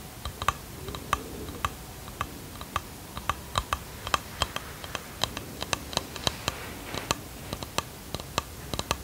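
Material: Wood.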